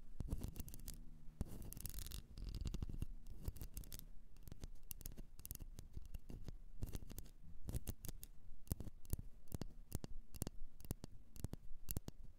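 A blue candle, likely in a container, is tapped and scratched, giving a steady run of quick, dry taps mixed with brief scratchy rubs. Each tap is sharp and dies away at once with no ring, and the sound sits mostly in a soft, low thud.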